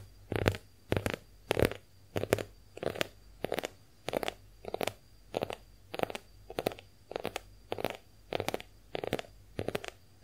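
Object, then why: Konjac face sponge. A pink heart-shaped konjac face sponge is held in both hands while long nails tap and scratch its porous surface. Soft, damp, muffled taps with brief bright scratchy edges come in quick clusters at a steady rhythm through the clip. A faint steady high tone and low hum sit underneath.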